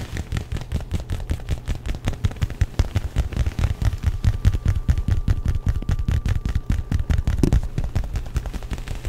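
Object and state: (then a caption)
Leather jacket. Fingertips and short nails grip, scratch and tap the lapel and front of a worn black leather jacket made of soft, flexible material. The result is a dense, irregular stream of short, dry, muffled thumps and rustles, heavy in the low end with no ringing. A faint steady tone hums in the background through the middle of the clip.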